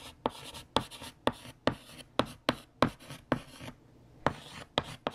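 A hand writes on a large, flat, solid black chalkboard with a yellow chalk stick, making scratching strokes. Each stroke begins with a sharp tap of chalk on the board, followed by a short, bright, gritty scrape, in an uneven series with a brief pause near the end.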